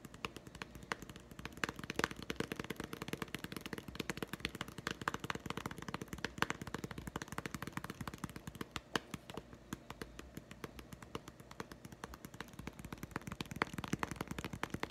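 A small green hollow plastic putty egg held in the palm is tapped rapidly with fingertips and nails. The result is a fast, continuous stream of short, dry plastic clicks with almost no ring, lasting the whole clip.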